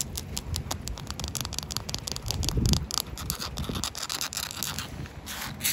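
Long coral acrylic nails scratch across the rough surface of a large, solid, rain-wet outdoor concrete paving slab with joint lines. Rapid, gritty scraping strokes carry bright, hissy texture over a low rumble, swelling loudest midway and rising again at the very end.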